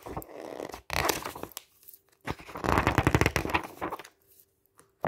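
Fingertips quickly riffle and flip many pages of a glossy paper camping guide lying open on a table. Dense bursts of crisp, flapping paper rustle and slaps come in quick succession, separated by short quiet gaps as the pages are turned.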